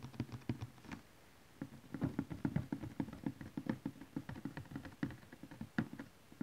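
Fingernails and fingertips of both hands tap on a large cardboard DVD collection box lying flat. The taps are quick, dry and hollow, with a low papery thump around 280 Hz and almost no ring. They come in rapid, uneven flurries, with a brief pause just after the first second.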